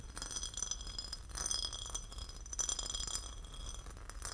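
A porcelain lid is tapped and scratched, giving a quiet run of bright ceramic clinks and fine scratchy texture. Each clink rings only briefly.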